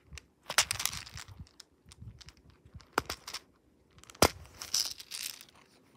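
Fingertips press and pop the silicone bubbles of a hand-sized fidget toy with a black plastic frame and a bead maze of small plastic balls, turning it over between presses. The result is a run of short, crisp, bright pops and crinkly clicks with a faint rattle, with two especially sharp snaps standing out midway and later on. Each sound ends almost instantly, with quiet gaps in between.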